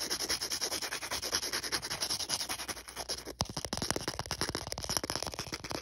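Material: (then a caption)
Emery board. Fingers rub and scratch back and forth across the gritty surface of a thin, solid star-print emery board nail file. The result is a steady, bright, hissy sanding sound made of rapid rasping strokes. After a brief dip just past the midpoint, the strokes become more distinct and punchy.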